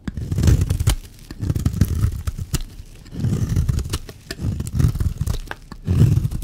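A metal blade shaves and scrapes curls off a solid, dry pink bar of soap held in the hand. The sound is a series of dull, low scraping strokes with crisp clicking ticks, separated by brief quiet pauses.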